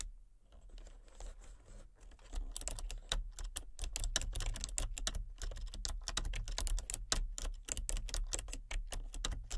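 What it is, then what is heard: Plastic computer keyboard being typed on. Fingertips with long nails tap and type on a full-size plastic computer keyboard with color-changing backlit keys and a hollow body. Starting with a few sparse taps, the clip builds into steady, irregular typing. Sharp, bright clicking sits over a low, constant hum.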